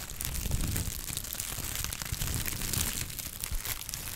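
A pad of brown honeycomb kraft paper wrap is crumpled and squeezed between the fingertips. It makes a steady, dense crinkling and crackling with a soft low rustle underneath and bright papery crackle on top. The sound swells and eases slightly over the clip without ever stopping.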